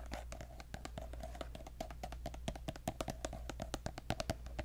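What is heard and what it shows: Fingertips and nails tap a pink, soft plastic lotion squeeze tube with a gold cap, partly full. The result is a quick, uneven run of short, dry clicks with a hollow midrange tone, set over a steady low hum.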